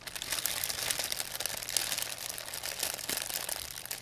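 A thin, empty white plastic pharmacy bag is squeezed and crinkled in both hands with long painted nails. The result is a steady, dense crackle of bright, sharp crinkling with almost no low end, rising and falling slightly in loudness over the four seconds.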